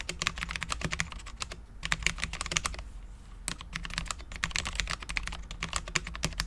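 Both hands type continuously with their fingertips on a full-size Cherry MX10.0 low-profile mechanical keyboard with Cherry LP switches, dark ABS keycaps and a steel plate. The result is a rapid run of short, bright, clacky taps centered around 2 kHz, with a brief lull around the middle, over a faint steady low hum.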